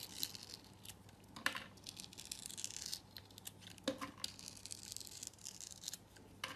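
A utility knife blade cuts and scrapes a hand-held solid purple soap bar with a rough crust. Quiet, bright, dry scraping and crumbly crackling run throughout, punctuated by a few sharper slicing strokes that end almost instantly.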